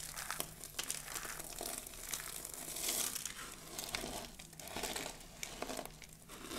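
Both hands scoop a heap of dry pink soap shavings, press the flakes flat with the palms and crush them with long blue nails. The result is a steady, bright crinkling and crunching, with dense crackles and brief louder bursts throughout.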